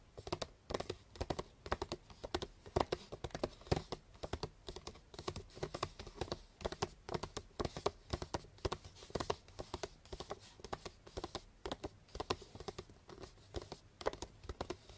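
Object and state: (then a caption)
Hollow gift-wrapped cardboard box. Fast tapping with long painted nails on the top and side of a hollow, medium cardboard box wrapped in pink star-print paper with a purple ribbon. The result is a dense, continuous patter of quick, dry clicks with little ring, some hits louder and sharper than others.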